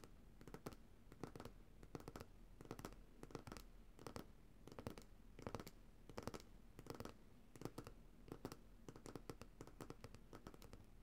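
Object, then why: Glass jar of solid coconut oil, bottom. Long nails tap and scratch the bottom of a glass coconut oil jar filled with white solid oil. Quick clusters of short, dry clicks and scratchy strokes repeat in bursts throughout, with no ringing, over a steady low hum at a quiet level.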